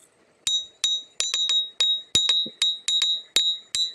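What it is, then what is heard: Ringing iron-bearing river stone. A river stone from the Lukulo river, shaped like a stone axe, is tapped 13 times in an uneven rhythm. Each tap gives a bright, clear, high-pitched ring centred near 3.8 kHz that decays quickly. A magnet sticks to the stone, marking it as an iron-bearing stone.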